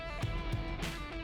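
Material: Nothing is struck.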